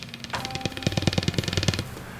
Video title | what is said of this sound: Saberforge Thread-In Pixel Blade | the only thing that I don't like is that if I shake the blade you can hear the LEDs rattle on the inside which I don't think should happen